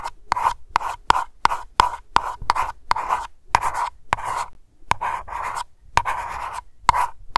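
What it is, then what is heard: Glass candle jar. Long nails tap and scratch a small glass aroma candle jar labeled Lavender and filled with wax, at a slower pace. A steady series of sharp, clicky taps each carries a short glassy tone near 960 Hz, separated by brief, bright scratching sounds against the glass.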